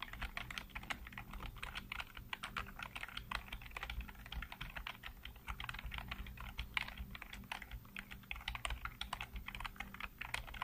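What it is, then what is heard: Plastic computer keyboard. Fingertips type rapidly on a black plastic backlit computer keyboard, producing a dense, steady stream of short, sharp key clicks with bright tops. The clicks stop almost instantly, over a low steady hum underneath.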